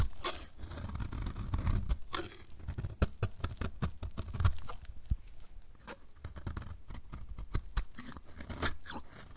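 A dry, solid blue-and-white marbled soap bar is shaved with a utility knife blade, and the flakes fall onto the table. Quick, repeated crunchy scraping strokes come with sharp, dry clicks, over a low, dull body and a faint bright edge.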